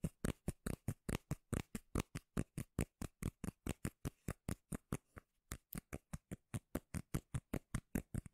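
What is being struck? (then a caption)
Round cork lid. Long nails tap and scratch quickly on a round, palm-sized, solid cork lid held at the mic. About 41 short, dull, bass-heavy knocks sound in a steady rapid run with a brief pause near the five-second mark, each one dry and quickly damped with a faint scratchy edge.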